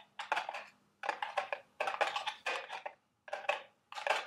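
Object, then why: Small cardboard candy box. Long red nails tap and scratch the walls of a small, carton-shaped cardboard Dubble Bubble gum Easter eggs candy box resting on a table. Quick, dry, papery clicks and scrapes come in clustered bursts separated by short silences, with a bright edge and almost no low end. Each sound dies away almost immediately.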